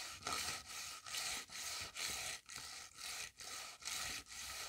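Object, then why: Paper cutout brushed over a notebook page. A hand-drawn paper shoe on a grid notebook page, flat and thin, is brushed back and forth with a hand-held paper cutout of a shoe brush. The paper-on-paper scrubbing comes as about nine bright, hissy strokes separated by brief pauses, with little low end.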